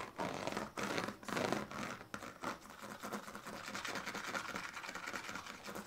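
A hand scratches a pink plastic comb back and forth along the ribbed strips of a woven plastic-strip sleeping mat, partly rolled up on a blue bedsheet. Long, raspy, broadband strokes come first, then give way to quicker, denser scraping with a bright, rattling edge.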